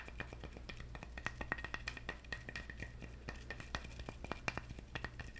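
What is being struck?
Whole coconut with fibrous husk.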